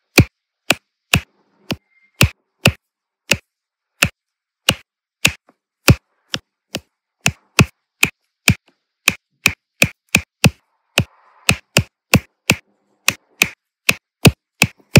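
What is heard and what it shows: A plastic diamond-painting drill pen with a metal tip taps small, solid, round resin drills down onto a flat adhesive canvas, setting them in rows. There are 33 short, dry, sharp taps at a steady pace, each a crisp bright click with a low thud and almost no ring, separated by near silence.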